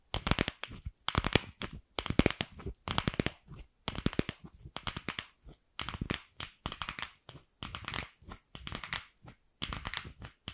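Long pink acrylic nails tap and scratch a palm-sized hollow pink plastic ball with a seam, held close beside the microphone. Quick bursts of sharp, dry clicks and scratchy rasps come roughly once a second in an uneven rhythm, with bright crackly highs over a low hollow knock. Each tap stops dead with no ring, separated by short silences.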